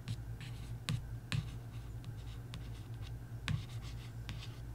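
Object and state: Paperback book cover scratched with a nail.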